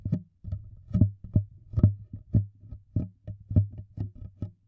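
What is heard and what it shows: An empty, hollow, clear thin-walled plastic water bottle with a printed label and barcode is held sideways in one hand close to the microphones while the fingertips and thumb tap and press its wall. The result is a quick, irregular series of soft, low, hollow thumps centered around a deep boomy tone, each dying away almost at once.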